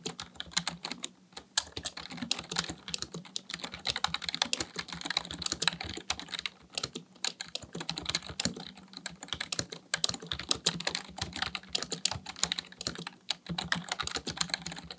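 Fingertips type steadily on a full-size black plastic computer keyboard for fifteen seconds. The result is a fast, continuous stream of short, bright, dry key clicks with a faint low hum underneath.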